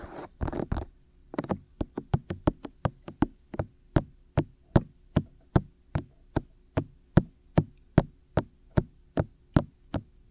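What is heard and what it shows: Fingertips tap directly on the white, hollow, ear-shaped silicone ears of a black 3Dio binaural microphone on a tripod. A quick, rapid flurry of taps comes first, then a short pause, then a run of quicker taps that settles into a steady, evenly spaced rhythm. Each knock is short and dull, with a low thump and a bright click on top, over a faint low hum.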